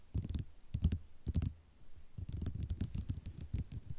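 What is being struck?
Ceramic mosaic tile sheet.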